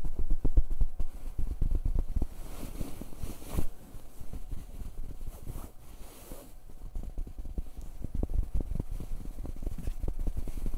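Fingertips and hands rub and scratch the surface of a soft, padded grey fabric comforter cover close to the recorder. The result is a dense run of quick, irregular muffled thumps and soft scratching, about four per second, heavy in low tones with brief bright brushing swells.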